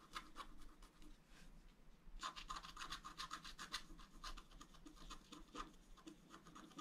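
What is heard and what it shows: A wooden stylus makes quick, repeated scratching strokes across a thin, flat, black-coated wax scratch-art paper card. Each stroke is a short, dry, bright rasp. A quieter pause near two seconds is followed by a denser, steadier run of strokes.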